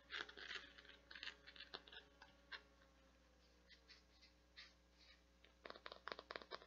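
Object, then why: Plastic flower-shaped bath scrubber. Long nails scratch across the nubbed surface and petals of a translucent teal plastic or silicone flower-shaped bath scrubby with a white center disc, held in both hands. Quick, bright, dry scratching bursts come in clusters, with a quieter stretch in the middle before a dense run of scratches at the end, over a faint steady low hum.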